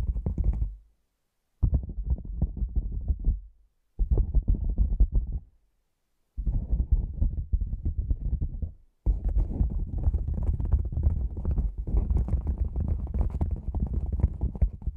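A black padded nylon lens pouch, a hollow cylinder, is tapped and pressed with fingertips and long nails on its top and sides. Soft, dull, low thuds and muffled scratchy rustles come in several separated bursts. The sound then turns into a steady, denser stretch of rapid tapping.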